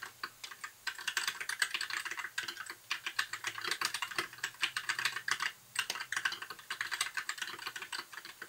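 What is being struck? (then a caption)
Plastic mechanical keyboard. Fingertips type continuously on a compact white backlit mechanical keyboard with plastic keycaps, producing a steady stream of quick, bright clicks and clacks. The keystrokes come in fast, uneven runs with brief pauses. Each click is short and dry, with no low rumble beneath.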